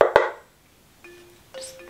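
Two quick knocks on a wooden clock face finished with an acrylic pour give short, woody, mallet-like taps that die away within a fraction of a second. Quieter, faint tones follow afterward.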